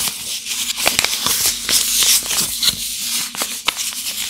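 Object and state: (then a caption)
Paper-wrapped soap bar being crinkled. A single solid rectangular bar of Barwy Harmonii Rose shea butter soap, still in its glossy pink paper wrapper, is held in one hand while the fingertips grip and rub the wrapper as the unwrapping starts. The paper crinkles in a dense, bright, hissy rustle with irregular sharp crackles and almost no low end.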